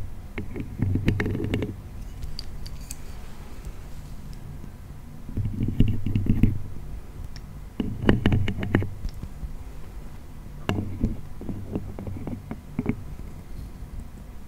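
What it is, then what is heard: Wooden acrobat toy. A red painted wooden frame toy with a wooden acrobat figure is handled and tapped with fingers close to the mic. Wooden clicks and taps come in several clustered bursts over a low, muffled rumble of handling, with quiet pauses in between.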